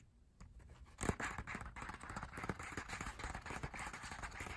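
Fingertips tap on the thin, solid pages of an open printed paper lyric booklet from a K-pop album. After a quiet start, a steady run of quick, soft, dry taps with a papery crackle begins about one second in and continues to the end.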